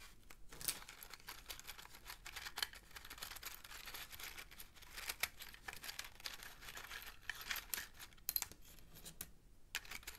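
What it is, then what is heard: Cardboard matchbox, full of matches. Fingertips slide open the inner drawer of a small printed cardboard matchbox of 240 matches, full of wooden matches, so the drawer rubs against the sleeve and the matches rattle inside. The sound is a quiet, bright, dry scraping and crinkling, with many short, rapid clicks and rattles throughout.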